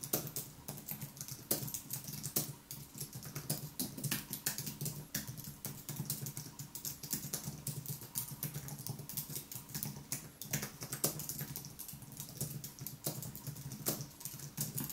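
Fingertips type continuously on the white plastic keys of a thin aluminium wireless keyboard. The result is a steady stream of short, crisp clicks with bright tops over a soft low thud.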